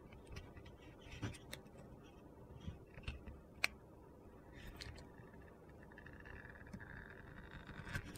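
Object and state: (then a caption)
Bar soap being sliced. A utility knife slices slabs off a solid orange and pink glitter bar soap, now narrower, making quiet gritty scraping and crunching sounds. Several sharp little clicks and ticks cut through the low rustle as the blade pushes through.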